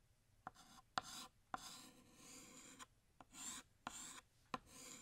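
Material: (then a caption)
Chalk. A blue chalk stick held in the fingertips draws a bottle on a large, solid, flat black chalkboard with short scratching strokes. Seven sharp taps of the chalk meeting the board are each followed by a bright, raspy scrape that fades before the next stroke.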